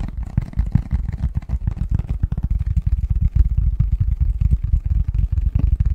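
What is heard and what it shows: Fingertips and nails tap and scratch the front of a printed, hollow, medium-size cardboard Christmas box lid held upright in both hands. A dense, irregular run of quick, dry, low thumps with a soft scratching texture fills the clip, each hit dying away at once with no ring.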